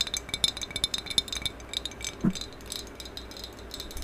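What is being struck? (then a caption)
Glazed ceramic vase. Long acrylic nails tap fast along the top surface of a medium maroon glossy hollow ceramic vase with a black band, held horizontally. The result is a quick, irregular run of bright, high-pitched clicks and clinks that stop almost instantly, with one duller, lower knock partway through.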